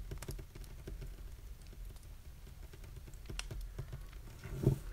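Fingertips and nails of both hands rapidly tap and drum on a flat, polished, solid wooden desktop. The result is a dense, quiet patter of short, dull, low knocks that die away almost at once, with a louder thump near the end.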